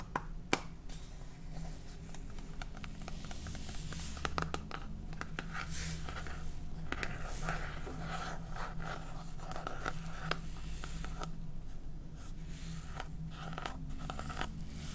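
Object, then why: Plastic salt jar with ribbed plastic cap. Long painted fingernails scratch and tap the red ribbed plastic cap of a clear plastic salt jar with a blue label, full of salt. Quick scratchy scrapes and sharp little clicks come through over a steady low hum and rumble that stays under the whole clip.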